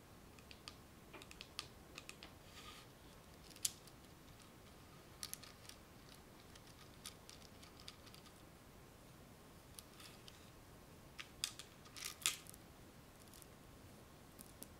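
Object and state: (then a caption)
Plastic bead garland on spool. Fingernails scratch and tap over a spool of small gold plastic beads strung on a garland. Quiet, bright clicks and rustles come in scattered bursts over a faint steady hiss, with a louder cluster near the end.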